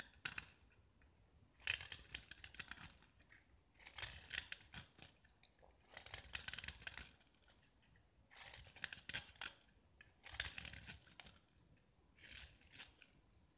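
A small solid gypsum tile painted with orange and white stripes is held in the fingers and scraped and carved with a metal utility knife blade. Short bursts of bright, gritty scraping and crunching repeat with brief quiet pauses in between. Chalky shavings fall off the tile as it is cut.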